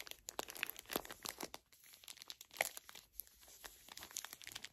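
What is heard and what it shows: Long acrylic nails squeeze and crinkle the thin plastic film of a small green pocket tissue pack full of tissues. Quick, bright crackles and pops fire in a dense, irregular stream with almost no low end. The louder bursts land near 1 and 2.6 seconds, and softer rustling fills the gaps.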